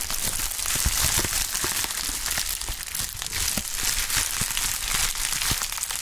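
A pink plastic bubble wrap sheet is stretched, crushed and crinkled by gloved hands. The result is a steady, bright crackling with dense crinkles and scattered sharp pops and snaps over a faint low rumble.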